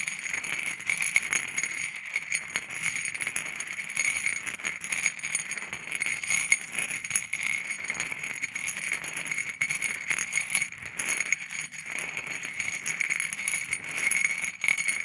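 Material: Stone.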